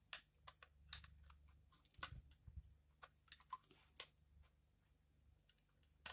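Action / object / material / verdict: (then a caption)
scrape / bar of soap / soap / none. A utility knife blade scrapes and shaves crunchy flakes from a hand-sized, solid, pale pink bar of dried soap held in the hand, and the bar is turned partway through. The result is a quiet series of short, sharp, bright crackling scrapes and crunches at irregular intervals over a faint low hum.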